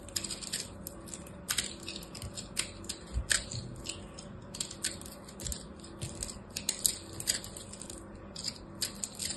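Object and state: Crushed soap ball being carved.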